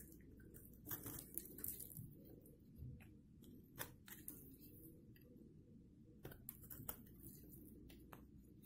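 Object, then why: Bar of soap scraped with a metal blade. A hand-sized, solid bar of dry green-and-white striped soap is held in the hand and scraped and scored with a metal blade, crumbling into green flakes. Quiet, dry, crunchy scrapes and sharp, bright ticks come in irregular bursts over a steady low background rumble.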